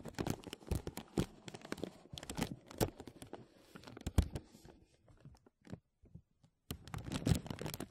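Fingertips and nails scratch and crinkle a thin, clear, embossed plastic vacuum-seal bag stretched over a mesh microphone dome. Dense bursts of dry, crackling rustles with low, thumpy weight come in quick clusters, then thin out to a few sparse ticks near silence before a final flurry of crinkling.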